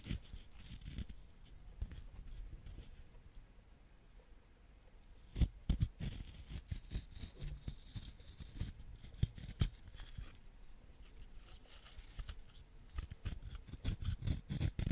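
A small, solid yellow wax crayon with its paper wrapper partly peeled is held in the fingers and scraped and shaved with a white ceramic knife blade, leaving wax curls and crumbs. Quiet, dry scratching and crackling runs throughout, broken by sharper, louder scraping clicks, with a busier stretch of scraping toward the end.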